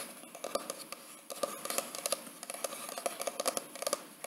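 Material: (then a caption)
Cardboard. Fingertips and short nails tap and scratch the textured paper/cardboard hardcover of a large white "Mr. & Mrs." wedding photo album with an inset photo window, held upright. The result is a quick run of dry, crisp clicks over a soft scratching hiss, with a hollow knock around 566 Hz and bright upper edges that stop almost at once, with no low rumble.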